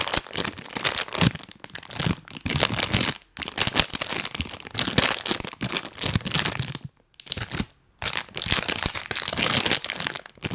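A full printed plastic cookie bag, held in both hands at the mic, is squeezed and rubbed with rubber toy hands. It makes dense, bright crinkling and crunching in long bursts, broken by brief quiet pauses.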